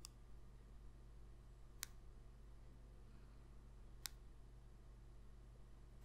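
A small, thin, glossy cardboard football card numbered 21 is held in the fingers and tapped with long pink acrylic nails. Four short, bright clicks sound over a quiet, steady low hum, each dying away almost at once.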